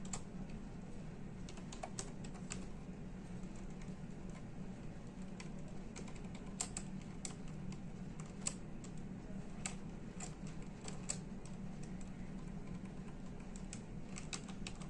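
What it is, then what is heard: Plastic computer keyboard. Fingertips of both hands type rapidly on the plastic keys of a full-size plastic computer keyboard, producing a dense run of short, bright clicks. A steady low hum sits beneath the quiet keystrokes throughout.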